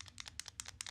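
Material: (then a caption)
Steel. A PB Swiss Tools stubby screwdriver, with a Phillips #2 bit in the tip and six spare bits stored in the carousel at the bottom of the handle, is shaken. The spare bits rattle a little in the carousel, giving quiet, bright, short clicking ticks. It is a minor rattle, not a big deal.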